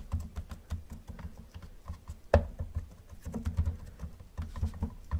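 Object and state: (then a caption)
Hollow plastic toy car. Gloved fingertips tap quickly on the roof and hood of a hollow yellow plastic Camaro model car. The result is a fast, uneven patter of soft, dull, low hollow knocks, with one sharper, louder tap near the middle. Each tap dies away almost at once.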